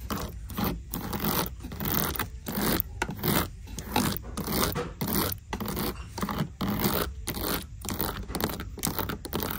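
Long decorated nails scratch and tap the woven leather-look upper and toe of a black flat shoe sitting in a shoebox. The result is a steady run of dry, broadband scraping strokes separated by brief pauses, with bright rasping texture over a low hum.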